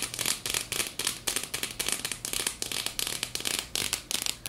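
A small clear plastic jar with a black screw lid, filled with purple glitter, is tapped quickly with long fingernails on its sides and lid. Dense bursts of bright, crisp clicks and rattling crackle come in rapid clusters, each tap dying away almost instantly. A faint low hum sits underneath throughout.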